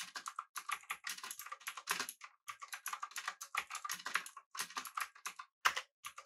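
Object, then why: Mechanical keyboard with aluminum body and round plastic keycaps. A full-size backlit typewriter-style mechanical keyboard with blue switches, an aluminum body and round plastic keycaps is typed on rapidly by the fingertips of both hands. The result is a dense stream of sharp, bright clicky keystrokes in quick bursts with brief pauses and no low-end thump.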